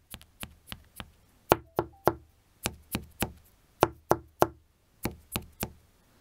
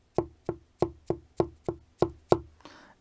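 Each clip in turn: First: delaminated fabric over wooden shield (air pocket). Second: well-bonded fabric on a wooden shield.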